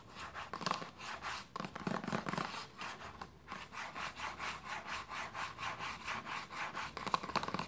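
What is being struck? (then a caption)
Plastic lotion bottle. Long nails scratch and rub a hollow white plastic lotion bottle resting on a blanket, making a steady run of about sixteen rhythmic, dry scraping strokes. Each stroke is a short swell of bright, hissy friction centered around 1 kHz, with little low end and almost no ring between strokes.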